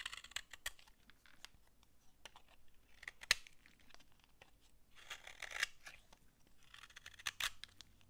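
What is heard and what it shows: A utility knife scrapes dry shavings off a solid brown laundry soap bar held in the hand. Quiet, bright, crunchy scraping strokes come at an irregular pace, with a few sharper, louder scrapes standing out and almost no low end.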